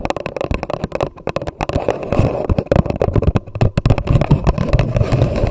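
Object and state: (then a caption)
Empty paper coffee cup. Long nails rapidly tap and scratch the sides of an empty grey paper coffee cup turned upside down over a microphone. The dense, quick clicks and scrapes have a hollow, boomy low resonance with almost no bright content, and each tap dies away almost instantly.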